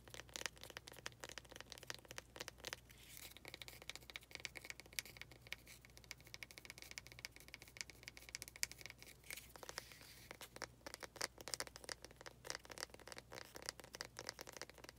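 Long nails tap and scratch the faces of a small faceted wooden pot holding an artificial cactus. Quiet, bright, rapid clicks alternate with a softer stretch of scraping in the middle, over a faint steady low hum.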